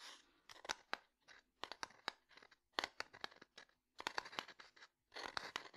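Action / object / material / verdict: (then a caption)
tap / small wooden domino box / wood / none. Fingernails tap and scratch the top and side of a small, closed, light wooden domino box held in the hand. Quiet, sharp, dry clicks come in short clusters with brief scratchy bursts between them. The sound is bright with no low end, and each tap dies away almost instantly.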